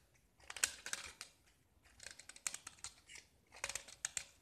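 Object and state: Gypsum plaster block being carved with a knife.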